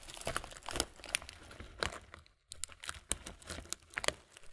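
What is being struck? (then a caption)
Thin plastic bag full of granola clusters. A medium, clear, thin plastic muesli bag full of granola clusters is held in both hands and squeezed and crinkled with the fingers. Bright, sharp plastic crackles mix with soft crunching from the clusters inside. A short pause falls midway before the crinkling resumes.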